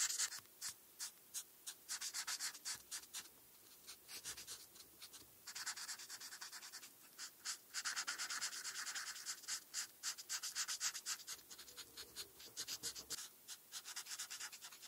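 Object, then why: Felt-tip marker on a paper sheet. A felt-tip marker is rubbed in short strokes across a flat paper coloring page while coloring in a star. Each stroke makes a quick, bright scratchy hiss with no low end, repeating in rapid bursts separated by brief quiet gaps.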